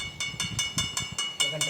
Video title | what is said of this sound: ఛాయా సోమేశ్వరాలయం.. ఆ ‘నీడ’ ఓ మాయ! Chaya Someswara Temple Chaya Someshwara Temple Mystery in Telugu | ఇక్కడ మనకు metal sounds గంట టైం కూడా వస్తుంది